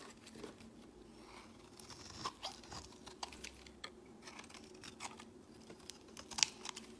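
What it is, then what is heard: Bar soap being shaved. A solid bright-green bar of soap is held in the hand and shaved with a utility-knife blade, curling off shavings. Quiet, dry, bright scraping and crisp crunching strokes come in short bursts, with sharper cuts standing out over a faint steady hum.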